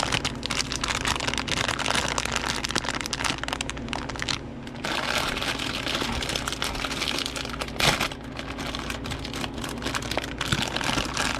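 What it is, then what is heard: Plastic candy bag being crinkled. A medium Haribo Happy Cherries bag of thin printed plastic film, full of gummy candies, is squeezed and crinkled by fingers in nitrile gloves, then torn open while the gummies stay inside. Dense, bright crackling runs almost the whole time, easing briefly midway before resuming, with a sharper burst near the end of the crinkling.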